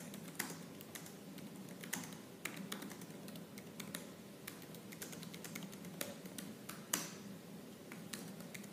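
Fingertips with purple-painted nails type fast on the black plastic keys of a silver laptop keyboard. A steady stream of quick, bright clicks and taps plays over a low hum, with a few sharper, louder key strikes standing out.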